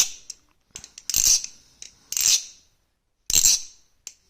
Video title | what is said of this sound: Hourglass and stock Kraken comparison and little Kraken talk! | if you shake hard enough a bit of play